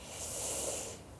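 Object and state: Nothing is struck.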